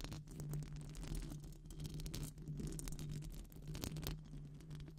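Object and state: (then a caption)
Metal mesh microphone grille being scratched. Long pink acrylic nails rapidly scratch the hollow silver wire-mesh head of a metal microphone grille, making a dense, continuous scraping texture. The scratching sits over a steady low hum, with quick brighter scratches flickering throughout.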